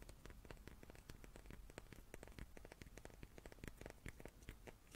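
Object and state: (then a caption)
Wooden cube. A small wooden cube is tapped rapidly and repeatedly, making a quiet stream of short, dry clicks and taps that stop at once with no ring. A soft low rumble runs steadily underneath the whole time.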